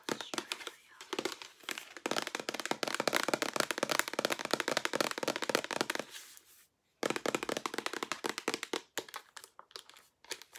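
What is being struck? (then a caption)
Plastic pump bottle. Long nails tap rapidly on the body and pump of a hollow white plastic shampoo or lotion pump bottle with a handle and a gold collar, held up close. The result is a dense stream of bright, dry clicks with almost no low end. There is a brief silence near the seven-second mark, and then the tapping resumes in quicker, sparser bursts.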